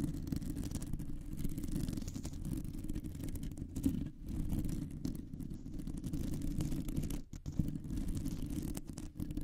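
Both hands with long nails scratch and tap the round, hollow, woven metal mesh grille of a condenser microphone. The result is a dense, continuous low rumble of scratching, concentrated below about 400 Hz, with almost nothing bright. It is broken by brief quiet dips near 4 and 7.3 seconds and a few sharper taps.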